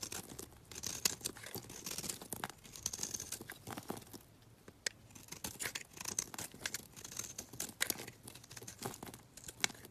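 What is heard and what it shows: A small, round, solid white bar of soap, held by fingers with long dark nails, is shaved with a box-cutter blade into powdery flakes. The clip is a quiet, steady run of dry, crisp scraping strokes, mostly bright and high with little low end, each stroke short with no ring.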